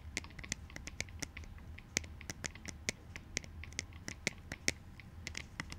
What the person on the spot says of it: tapping on plastic clout goggles (in black and white)